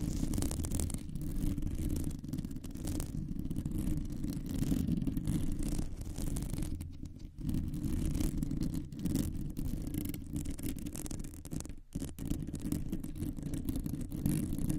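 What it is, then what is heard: Metal microphone mesh grille being scratched. Long nails scratch across a round, hollow metal mesh microphone grille. The result is a steady, dense, rasping rumble heavy in the lows, with faint bright hiss above and brief dips near 7 and 12 seconds.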